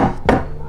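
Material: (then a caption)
Sheet metal. Two knocks on the bare sheet-metal door panel of a WRX STI that has no sound-deadening material give a loud, resonant, hollow thud with a low-mid ring that fades over a fraction of a second. The untreated door sounds noticeably loud.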